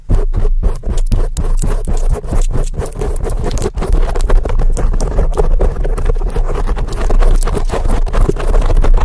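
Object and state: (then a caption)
Foam microphone windscreen being scratched. Very long decorated acrylic nails on both hands scratch fast and aggressively at a large, soft, porous black foam windscreen covering a microphone. The result is a loud, continuous, dense rasping and thumping scrape, heavy and boomy in the low end and muffled, with rapid, overlapping strokes for the whole clip.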